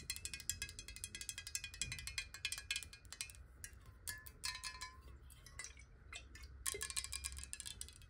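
A clear square glass water bottle, hollow and partly filled with water, is tapped rapidly with long nails. The result is a dense, irregular stream of bright, sharp clicks and clinks with brief glassy ringing tones, over a faint low background rumble.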